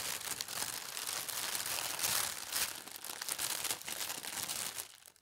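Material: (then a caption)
Paper. Fingertips with long red nails press and rub a large, thin sheet of white tissue paper printed with gold stars, smoothing it flat on a fabric tablecloth. The result is a steady, bright, high crinkling and rustling that swells in the middle and fades out at the end.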